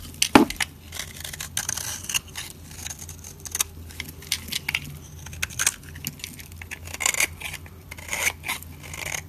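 A solid, dry, pale yellow soap bar held in the hand is carved and scraped with a metal utility blade, shaving off curled flakes. Repeated short, crisp, bright scraping and crackling strokes come in uneven bursts over a faint steady low hum.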